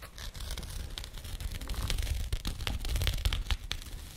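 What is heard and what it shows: A small labeled burlap jute pouch is held close and scratched with nails, producing a continuous rough, fibrous scratching with low rumble. Brief bright scrape bursts repeat irregularly throughout.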